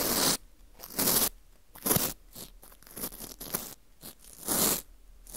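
A teal plastic scraper scrapes a porous dried wheat gluten ring (fu) with a hole, knocking off visible crumbs. Irregular bursts of bright, crunchy, rustling scraping alternate with short quiet gaps.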